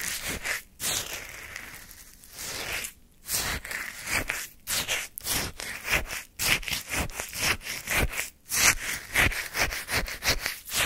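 A wooden spoon scrapes and lifts crunchy orange shaved-ice sorbet chunks in a small paper cup. Sixteen separate bright, gritty scrapes come at an uneven pace, each crackling briefly and stopping short with little ring.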